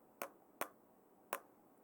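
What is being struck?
Plastic cup tapped with a wooden pencil.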